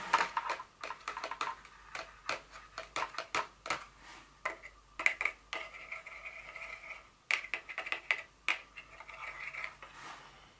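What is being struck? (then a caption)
Paperboard box tapped with fingernails. Long nails tap and scratch an empty, partly unfolded white paperboard Dior fragrance box lying on a table. The quick, light, dry clicks come in uneven bursts, with a bright, hollow ring between them and soft scraping in the quieter stretches.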